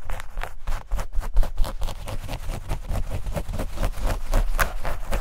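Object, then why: Denim shorts. Long nails scratch and rub a pair of denim shorts held near the mic. Quick, repeated scratchy strokes come in a steady, fast rhythm, with bright fabric rasps over a dense low rumble, and the sound stays busy and close throughout.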